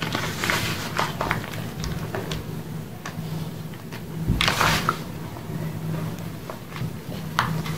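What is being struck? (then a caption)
Block and powdered gym chalk in a bowl. Bare hands dig into a large pile of pink gym chalk, powder and crumbled blocks, in a dark round bowl, squeezing and rubbing the soft dry chunks into powder. Soft crunches and dry, gritty rustles come in uneven bursts with bright crackly edges over a low steady hum, the loudest crumble landing around the middle.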